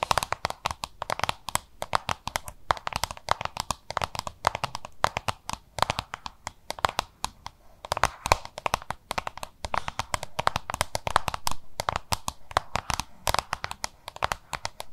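Long nails tap and scratch rapidly across the front of a small, hollow, oval yellow-green plastic lunch box. The result is a dense stream of sharp, dry clicks with a hollow plastic tone around 900 Hz, each dying away almost instantly, mixed with brief scratchy rasps and bright high edges.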